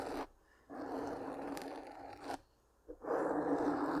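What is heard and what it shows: Long pink-painted nails scratch a soft black foam windscreen covering a large microphone. Three separate bursts of dense, rough, muffled scratching are heard, concentrated in the low-mid range with a steady hum near 290 Hz and almost no highs, separated by near-silent gaps.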